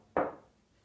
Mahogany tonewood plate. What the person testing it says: it has a quite a nice tap tone for mahogany this is pretty dense mahogany but you can hear that it's not super bright